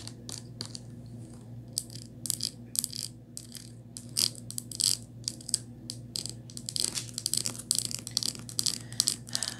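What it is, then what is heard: Plastic bottle tapped with nails. Long nails tap rapidly on a small white Crest plastic mouthwash bottle with a ridged cap, lying on its side. The taps are quick, dry, bright clicks with no ring, coming in irregular bursts over a faint, steady low hum.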